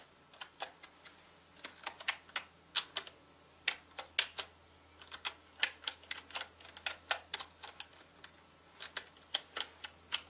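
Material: Plastic.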